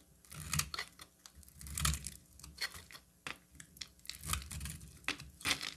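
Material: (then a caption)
Soap. A metal utility knife blade cuts and shaves a solid, hand-sized orange bar of soap, and thin flakes fall away. The strokes give crisp, bright scraping and crunching with soft low thuds underneath, rising and fading in short bursts across the clip.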